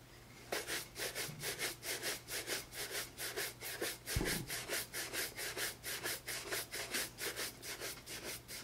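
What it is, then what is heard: Leather loafer being brushed. A tan J.Crew leather penny loafer with a rubber sole, hollow and empty, is held in one hand and brushed back and forth with a wooden-backed bristle shoe brush. After a brief quiet start, it gives a steady run of rapid, bright, breathy scrubbing strokes at about two per second, with a low hum underneath.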